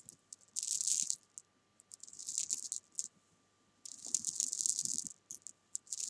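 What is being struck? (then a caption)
Small jelly bean candies on fabric. Small solid jelly beans spread on fabric are tapped and scratched with long painted nails. They make bright, crisp rattling bursts, with two longer clusters and scattered short clicks between near-silent pauses.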